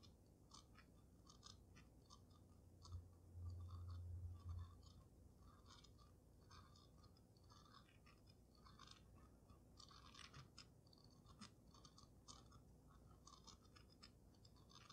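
Long nails scratch and tap the glass dome of a water-filled dragon snow globe held in both hands. The result is a rapid, uneven stream of short, crisp scratches over a low, steady hum, growing slightly louder around three to four and a half seconds in.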